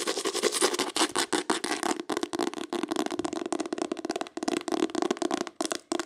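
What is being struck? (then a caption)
Hardcover book with embossed cloth cover. A solid green hardcover book with an embossed cloth or leatherette cover is tapped and scratched quickly with long pale acrylic nails. The result is a dense run of sharp, dry clicks mixed with short scratchy strokes and almost no ring.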